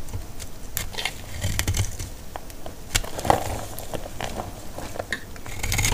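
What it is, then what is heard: Dry laundry soap bar being shaved. A metal utility blade shaves a solid, hand-sized bar of dry white laundry soap held in one hand, with scraping and cutting strokes flaking dry curls onto a pile of soap shavings. The result is a steady stream of dry, crackling scrapes and crisp, bright snaps over a soft low rumble, with each stroke stopping almost instantly with no ring.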